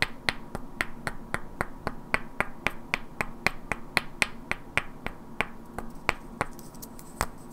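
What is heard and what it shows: Two identical hand-sized solid wooden cubes with black painted characters are held in both hands and knocked and clicked against each other, while long natural nails also tap their edges. About 26 sharp, dry, bright clicks come at roughly four per second in an uneven rhythm, each dying away almost instantly. A faint steady low hum sits underneath.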